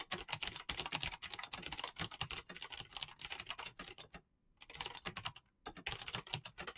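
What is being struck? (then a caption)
Mechanical keyboard with clicky switches and PBT plastic keycaps. Fingertips with medium painted nails type fast on a full-size, backlit Razer mechanical keyboard with green clicky switches and pastel PBT plastic keycaps. A rapid stream of sharp, bright clicks with little low end plays throughout, with two brief pauses near the end.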